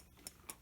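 Two duck eggs collected on a homestead are tapped together twice, giving two short, bright clicks with almost no ring. The shells sound glassy, unlike other eggs.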